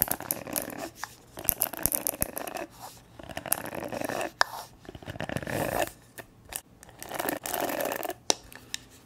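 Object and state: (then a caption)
Plastic hair brush. Long nails tap and scratch the hollow back of a purple plastic paddle hair brush. Bursts of dry scratching alternate with sharp clicking taps and short pauses, with a bright, papery texture and little low end.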